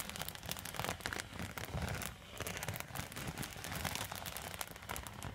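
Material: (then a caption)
Foil. Long metal nail tips scratch across a silver quilted foil thermal zip pouch. The result is a dense, continuous run of crinkly, crackling scratches with bright, rustling texture and a soft low rumble underneath, rising and falling steadily over about five seconds.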